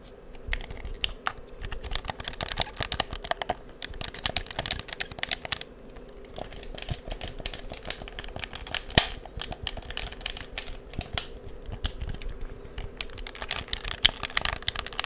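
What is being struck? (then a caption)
Plastic game controller. A black hollow plastic PS4 game controller is held in both hands in front of the mic while thumbs and fingertips rapidly click its buttons and triggers. Dense, bright, dry clicks with very short decay overlap over a faint steady low hum.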